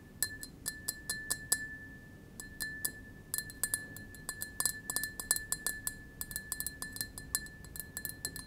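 A small, clear, empty double-walled glass tumbler held in the palm is tapped with fingertips and nails in quick irregular bursts, with a brief pause near the two-second mark. Each tap gives a bright, short glassy clink over a steady high ring near 1.7 kHz.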